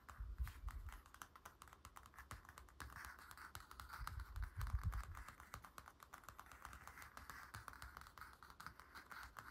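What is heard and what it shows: Fingertips and nails of both hands tap and scratch across the glossy dark blue night-scene paper cover of a large, flat, paper-covered hardcover picture book lying on a wooden table. The result is a rapid, quiet patter of short, dry clicks over a soft, continuous scratchy hiss, with occasional dull low thumps.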